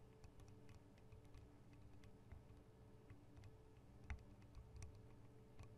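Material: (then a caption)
Metal. Long acrylic nail tips tap on the metal guard wings and microphone capsules of a Tascam DR-40 recorder. The result is quiet, irregular, short ticking taps that die away almost instantly, over a steady low rumble that dominates the sound.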